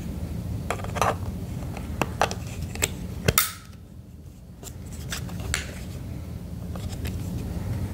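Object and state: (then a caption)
Plastic radio casing. Fingertips tap the back panel of a red and black plastic emergency radio with a hollow casing. The sound is a series of short, dry, hollow clicks and knocks with bright edges, over a steady low rumble, with a brief quieter stretch midway.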